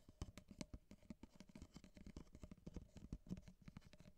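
Long fingernails tap and scratch the corrugated side of an empty, hollow ripple-wall kraft paper coffee cup held upright in one hand. A quick, irregular patter of soft, dry clicks and brief scrapes follows, with a hollow low resonance around 180 Hz and a little faint bright rasp. Each tap dies away almost instantly.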